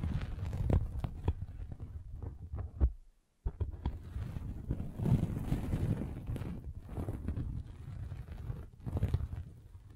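A hand rolls a derma roller with tiny metal spikes across the top of a soft red velvet fabric bag stretched over a boxy microphone, the spikes scratching and piercing the fabric. The result is a deep, muffled stream of thumps and rustling scrapes, hollow and soft. There is a brief near-silent pause a little past the three-second mark.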